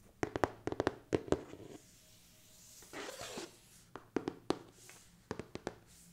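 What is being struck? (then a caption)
Cardboard game box lid. Fingertips and long nails tap across the front of the lid of a large, hollow, printed cardboard board game box (the horror game Escape the Dark Castle), which is held upright. The box gives 16 quick, dry, hollow knocks with a mid-pitched body, in clusters separated by short pauses. A soft, brief rustle is heard midway through.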